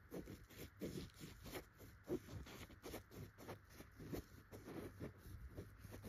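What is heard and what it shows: A single finger with a short red-painted nail scratches between the tufts of a yellow chenille dotted pillow fabric. Quiet, soft, rapid scratching strokes repeat in a steady rhythm, making a muffled, low rustling texture with little high-end hiss.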